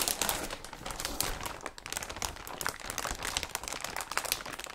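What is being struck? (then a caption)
Thin plastic bag. A large, thin, transparent plastic bag, empty and loose, is held up in both hands and crumpled, scrunched and rubbed by fingers and palms. It makes a dense, continuous bright crinkling with sharp crackles and pops throughout, over a soft low rustle.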